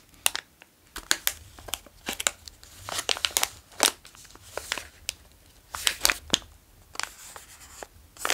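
A small, full yellow plastic bag of Bilar gummy candy is handled, tapped and traced with the fingertips. Bright, crisp plastic crinkles come in irregular bursts, mostly high-pitched, with short quiet gaps between them.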